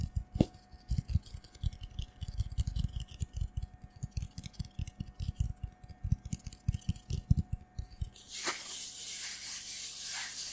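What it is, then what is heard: Cardboard tube being scratched. A hollow, empty brown cardboard tube about 25 cm long, like a paper towel roll core, is held in both hands in front of a foam-covered microphone and scratched and rubbed quickly with the fingertips and nails. For about eight seconds it gives a fast run of short, dull, low, hollow thumps and scratches. Then it changes to a softer, bright, hissing rub that swells and fades, while a faint steady tone hums underneath throughout.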